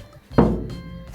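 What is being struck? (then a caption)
Steel pickup truck bed. A knock on the steel bed of a 1969 Chevrolet C-10 restomod truck gives a single dull, low thunk that fades quickly. Music plays underneath throughout.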